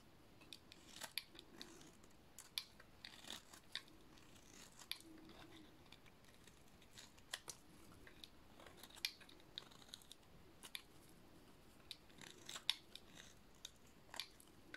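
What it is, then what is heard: Dry soap bar being shaved. A metal blade shaves a thin remaining piece of a dry, blue painted soap bar, making a series of quiet, crisp, bright scraping cuts. Each short slice stops dry with no ring, spaced irregularly over a soft hiss.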